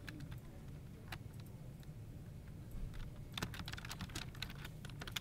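A dark, full-size plastic computer keyboard with a hollow plastic body is typed on with the fingertips of both hands, tapping and pressing the keys. Short, bright clicks come in scattered bursts that grow busier in the second half, over a steady low rumble.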